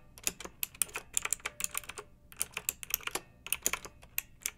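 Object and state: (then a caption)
Plastic mechanical keyboard. Long-nailed fingertips type on a pink plastic mechanical keyboard with round retro keycaps and blue backlight, resting on a fluffy rug. About 25 quick, bright, clacky keystrokes are heard in uneven bursts, with a brief pause near the middle. Each click is sharp with almost no low end and dies away instantly.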